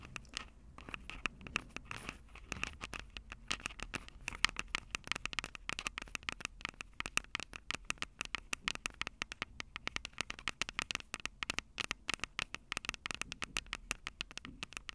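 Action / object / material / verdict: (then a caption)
tap / plastic and metal handheld recorder with metal mesh microphone grilles / plastic, metal / none. Long purple acrylic nails tap rapidly on the two metal-grilled microphone capsule heads of a Tascam DR-05 handheld recorder with a plastic body. The result is a dense, irregular stream of sharp, bright clicks and scratchy taps that die away almost instantly, with little low end, at a quiet overall level.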